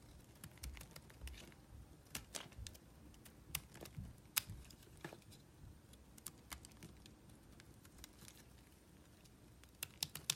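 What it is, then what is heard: Bar soap. A palm-sized solid white bar of soap with traces of yellow paint is held in the hand and shaved with a small metal blade. Quiet, dry, crisp scraping clicks come in an uneven run of bright, very short ticks and crackles over a soft low rumble.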